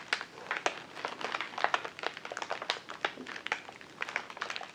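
A large white plastic poly mailer bag lying flat on a table is rubbed and crinkled with the fingertips of both hands. Dense, irregular crinkling and crackling fill the clip, with sharp, bright, quickly fading snaps over a soft rustle and almost no low end.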